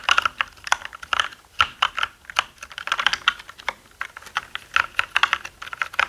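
Both hands type with their fingertips on a black mechanical gaming keyboard with plastic keycaps. The result is a rapid, uneven stream of sharp, clicky keystrokes in quick bursts with brief pauses between them. Each stroke has a bright, hollow plastic clack centered in the upper mids, almost no low end, and a very short decay.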